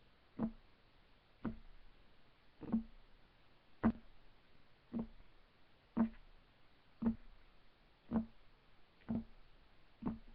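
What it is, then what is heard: Wooden table top, solid. Fingertips of both hands tap rapidly on a solid, flat, light wood desk surface. Ten short, dull knocks with a low-mid woody tone land roughly once a second with slightly uneven spacing. Each dies away almost instantly against a quiet background.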